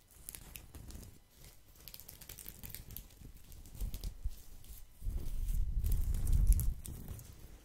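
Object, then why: Woven straw placemat. A flat, thin, round woven straw/rattan placemat is held close to the microphone and moved from one side to the other while fingertips and nails scratch across it. The result is a steady, fairly irregular crinkly scratching with bright crackly edges over a low rumble, growing louder and denser around the fifth second before easing off.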